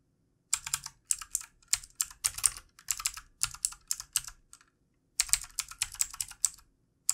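Fingertips of both hands type on the keys of a backlit plastic computer keyboard, producing rapid bursts of bright, crisp clicking taps. The taps come in quick clusters separated by short pauses, with a longer gap near the end before typing resumes. Each tap is dry and dies out almost instantly.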